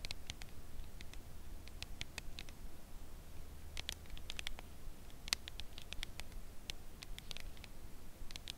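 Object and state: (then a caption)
Cardboard chocolate box tapped with nails. Long acrylic nails tap slowly on the edge of a red Lindt Lindor cardboard box holding a chocolate bar, held at an angle. The taps are soft, dry, bright clicks that stop instantly, coming unevenly throughout over a quiet, steady low hum.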